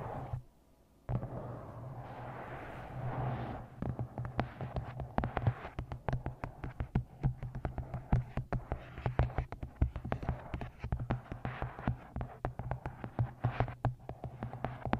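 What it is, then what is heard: Paperback book cover tapped with nails. Long nails scratch across the glossy card cover of a paperback book, then tap on it rapidly and unevenly, producing sharp, dry clicks over a steady low hum.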